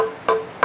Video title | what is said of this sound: Camping In Rock Cave Shelter | That hollow tapping sound? That's ultra dry wood.